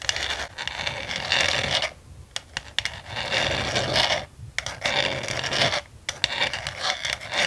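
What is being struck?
Frosted plastic desk organizer tray.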